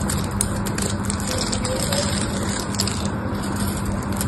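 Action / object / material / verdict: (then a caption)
scrape / bar of soap scraped with a knife blade / soap / none. A solid pink bar of soap held in the hand is scraped and carved into flakes with a black utility knife blade. The result is a steady, dense crackling scrape with a low, rough undertone and bright, crisp flicks of shaving throughout.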